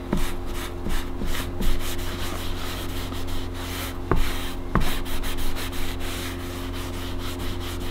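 A small, flat, thin veg-tanned leather knife sheath with stitched edges, first lying on a cutting mat and then held in the hand, is rubbed with a black cloth held in the fingers. The soft, steady swishing of the wiping sits over a constant low hum, with a few brief sharp clicks partway through.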